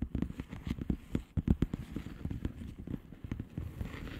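Long nails tap the bubbles of a flat blue plastic bubble wrap envelope in slow, sparse taps. Each tap is a short, dull, low-pitched thud with a soft crackle and no ring, scattered unevenly across a quiet background.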